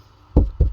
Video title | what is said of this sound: Sea Ray 240 Mercruiser Gas V8 to Diesel Refit PHILIPPINES Part 7 Flushing the NASTY - RAT Damage! | it sounds Hollow and that's the outer haul